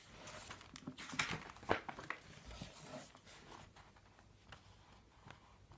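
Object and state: Paper phone book pages being turned.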